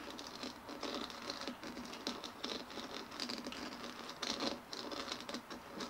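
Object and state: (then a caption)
Hollow plastic dimpled ball. Long nails rapidly tap and scratch the dimpled shell of a white hollow plastic ball resting on a table. The result is a quiet, continuous patter of light clicks and scratchy rasps that is bright and hollow-sounding, with almost no low end and short decays.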